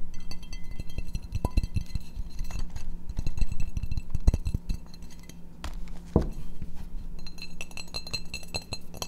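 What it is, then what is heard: Ceramic plate. A small, empty blue glazed ceramic plate with a gold rim is held and tapped by fingertips and nails, giving quick, dense clinking taps with bright, short ringing overtones over a steady low hum. The taps come in rapid irregular bursts and thin out briefly near the middle.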